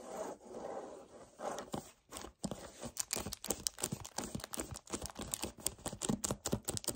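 A hollow 1 L white paperboard kefir carton is scratched and rubbed with short nails and fingertips. The result is a fast run of dry, papery scraping and crunching bursts with a bright, crinkly edge and no ring after each stroke. The first seconds are softer, smoother rubbing, then the strokes grow quicker and sharper.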